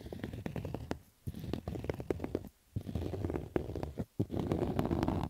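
Fingers scratch fast over the stitching on the hollow crown of a black stitched cotton baseball cap. The scratching is a dense, rough, low-heavy rasp broken by a few short pauses, with quick crackling strokes that fade almost instantly.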